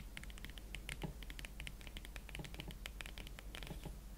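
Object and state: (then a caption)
Leather boot. Fingertips slowly tap a pair of hot pink leather Valentino Club Platform boots. The result is a steady run of soft, dry, clicky taps with little ring, heard over a constant low hum.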